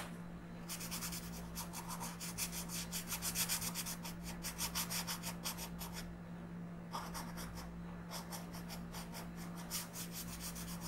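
A pink colored pencil is rubbed in quick shading strokes across a flat paper coloring book page. Rapid, bright, scratchy strokes run in bursts, with short pauses near the middle and later on, over a steady low hum.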